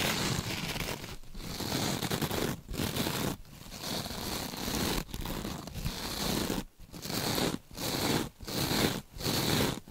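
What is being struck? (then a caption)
Scrub sponge with beaded mesh cover and foam core. A rectangular scrub sponge with a glittery beaded mesh cover and a soft foam core, held in gloved hands, is scratched and squished with long nails. The result is dense, crackly scratching and crinkling bursts with a bright hiss, broken by short silent gaps.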